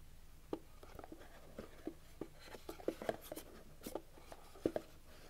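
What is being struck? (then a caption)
Rigid cardboard box with lid. Fingertips and short nails tap and scratch the lid and sides of a small white rigid cardboard iPhone 11 box with a lid, held in both hands. The result is a quiet, irregular series of short, dry taps with a hollow low-mid body and almost no ring, mixed with faint, brighter scratching strokes.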